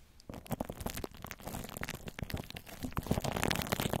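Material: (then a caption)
Plastic film. Clear plastic cling film wrapped over the hollow metal mesh grille of a large round microphone is scratched and rubbed by long orange fingernails. After a short quiet start, the close-up sound is a dense stream of crinkling, crackling scrapes with a heavy low-end rumble. It grows louder and busier toward the end.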